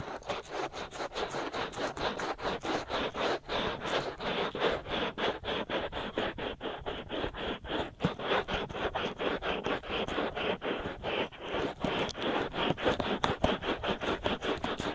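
Both hands scratch fast and densely with fingertips and nails on the hollow white silicone ear shells of a binaural microphone. The result is a continuous stream of quick, rasping scratch strokes, each a short broadband burst centred in the midrange with a bright edge and little low end, with no pauses over the whole stretch.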